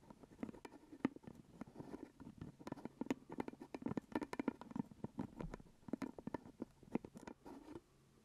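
Fingertips and nails tap and scratch the purple plastic lid of a full glass jelly jar held close. The result is a rapid, dense stream of short, dry clicks and scratchy rustles with a low-mid body and faint bright ticks. The tapping stops shortly before the end, leaving quiet.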